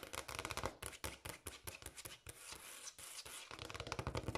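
Long acrylic nails on both hands tap fast and lightly scratch a large, solid, speckled granite countertop. The result is a dense stream of crisp, clicky taps with a bright edge and a slight low knock, mixed with soft scratchy rasps and brief pauses.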